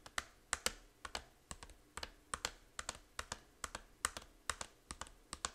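Long nails quickly tap the back cover of a small, hollow plastic 3DS game case. About 25 sharp, bright, dry clicks come in an uneven, rapid rhythm, and each stops almost instantly with no ring.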